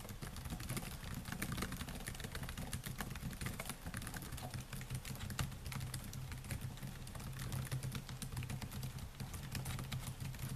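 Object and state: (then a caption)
Laptop keyboard typing. Fingertips type rapidly on the black plastic keys of a silver laptop, a solid device, making a dense, continuous stream of quick, bright clicks and taps. A steady low hum sits beneath the typing throughout.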